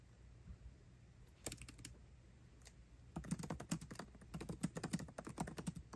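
Both hands type fast with their fingertips on the backlit black plastic keycaps of a 13-inch aluminium MacBook Pro laptop keyboard. A few scattered keystrokes come first, then a dense run of quick, dry clicks with a low thud under each press and almost no ring.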